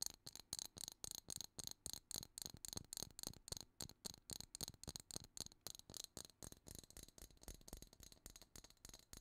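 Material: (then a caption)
Plastic, shell. A clear plastic jar full of seashells is shaken and tapped with long nails. About 37 quick, bright rattling bursts follow in a loose, irregular rhythm, crisp and high-pitched with almost no ring, and the sound stays fairly quiet throughout.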